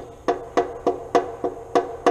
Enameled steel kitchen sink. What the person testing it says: enameled steel sink you can hear the hollow sound